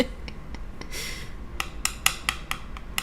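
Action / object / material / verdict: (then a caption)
tap / chunk of dried paint / dried paint / solid. A chunk of old, unused dried paint is tapped to check whether anything is inside. A series of short, sharp, bright clicks with almost no ring sounds over a low background hum, with a brief hiss partway through. The chunk turns out to be solid.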